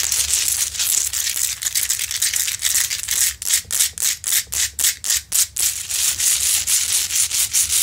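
Long pointed nails scratch rapidly across the rough front of a large, solid rock-salt Himalayan salt lamp, making a bright, hissy, gritty scraping. The scratching is dense and continuous at first, breaks into distinct rhythmic strokes in the middle, then returns to a steady rasp.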